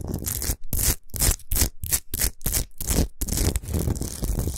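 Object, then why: Rock salt block. Long nails scratch fast across a large, rough, solid chunk of natural Himalayan rock salt lying on a fur rug. Quick, gritty rasping strokes come in short bursts with brief gaps, then blur into a steady scraping, with a bright hiss over a low rumble.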